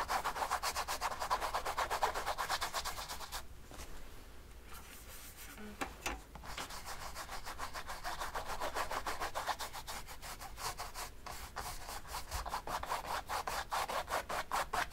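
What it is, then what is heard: Brush strokes on a stretched painting canvas. A paint brush rubs quick, repeated strokes along the right side of a large, oil-painted stretched canvas held steady by the other hand. The result is a soft, rhythmic scratchy brushing with a mid-range papery texture. The strokes quiet to a light hiss for about a second around the four-second mark, then resume.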